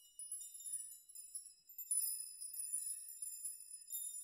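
Fingers touch, sway and rock the many long hanging steel nails of a steel nail chime so they clink against each other. The result is a quiet, continuous shimmer of bright, high metallic tinkles with short rings and nothing in the low range.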